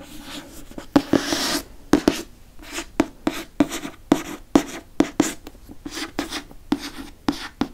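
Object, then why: Hardcover book with glossy cover. Fingertips trace and rub across the glossy cover of a hardcover *Prisoner of Azkaban* book. Soft, bright swishing strokes are broken up by repeated short, crisp taps with a low hollow tone and almost no ring, including one longer hissy rub near the start.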